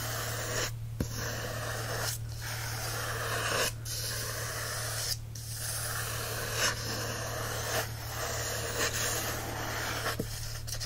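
Fingertips and nails scratch and rub the matte card back cover of a cream Alice paperback book lying flat on a blanket. Continuous dry, hissy scraping and rubbing strokes fill the clip, over a steady low hum.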